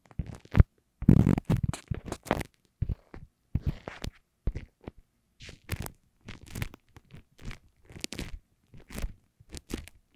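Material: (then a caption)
Paper. Long acrylic nails and fingertips scratch, rub and tap a small, thin, flat lined paper index card with a punched hole that lies over an Apple earphone mic. The result is a series of close, muffled, bass-heavy crunches and papery scrapes, each short and dry with quiet gaps between.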